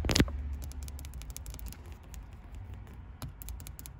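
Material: Metal.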